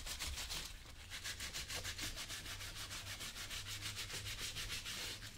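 A blue cloth held in the fingers rubs the toe and vamp of a brown leather work boot worn on a foot, hollow with the foot inside. Quick, steady back-and-forth strokes make a bright, hissing swish in a fast rhythm over a low hum.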